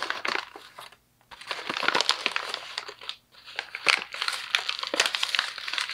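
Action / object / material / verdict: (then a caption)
scrape / thin paper sheet / paper / none. A thin white paper sheet is crumpled and twisted into a ball with both fists. Dense, bright crinkling and crackling bursts come in quick succession, broken by two brief silent pauses, before the crumpling resumes.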